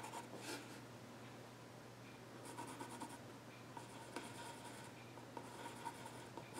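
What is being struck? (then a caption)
Wooden stool top scratched with a graphite pencil. A yellow graphite pencil scratches lines across the flat top of a solid, dark-stained wooden child's stool. Quiet, dry scratching strokes come in short bursts with bright, raspy edges over a faint, steady low hum.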